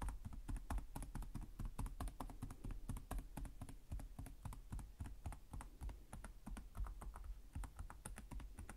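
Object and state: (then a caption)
Plastic laptop keyboard being typed on. Fingertips type rapidly on the plastic chiclet keys of a black laptop with a hollow chassis. The result is a fast, steady stream of short, hollow clicks and taps with a low, thuddy body and bright ticks on each key strike. The typing keeps an even pace throughout, and each tap dies away quickly.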